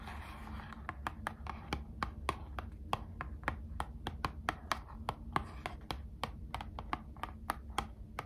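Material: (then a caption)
Cardboard. Long acrylic nails tap a small, closed, hollow Squishmallows trading card box made of thin printed cardboard, held in both hands. A steady series of short, sharp, dry clicks with a papery mid-range tone decays almost instantly over a faint low background hum.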